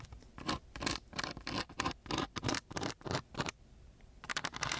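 A wooden stick held in a gloved hand scratches back and forth across the grit of a coarse brown sandpaper sheet. Rapid, uneven bursts of rough, bright scraping hiss follow one another with little low end. A short pause comes near the end before the strokes resume.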